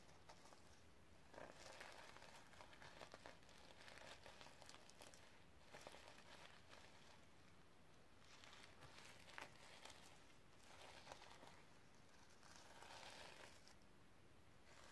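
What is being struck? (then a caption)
Notebook with plastic sequin cover. Fingertips and nails rub and brush back and forth across the reversible sequin cover of a flat notebook lying on a stack of books, flipping the sequins' colour. The result is a quiet, crisp, crinkly rustle and scratch that comes in repeated sweeping bursts over a low, steady background rumble.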